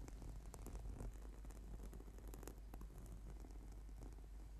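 Fingertips and short nails tap and scratch the surface of a flat, purple, sticky PVC/foam yoga mat lying on a table. The result is a quiet, steady texture of soft, dull taps and faint scratchy rustling over a low, constant rumble, with brief brighter clicks scattered throughout.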